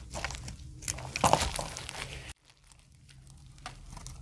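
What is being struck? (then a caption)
Glycerin soap bar. A solid translucent brown glycerin soap bar, held by a hand with long painted nails, is shaved repeatedly with a utility knife blade, cutting off curls. Crisp, crinkly scraping and cutting sounds with bright edges peak in a loud crunchy burst near the middle. The sound then drops abruptly to near silence before softer scraping resumes.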